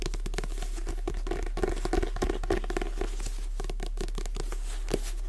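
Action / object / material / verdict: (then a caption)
tap / paperback book with glossy card cover / card / none. A Jurassic Park paperback is held upright in both hands while long nails tap and scratch its glossy card cover. The result is a quick, irregular stream of soft clicks and dry scratches with a mid-range tone, over a steady low hum.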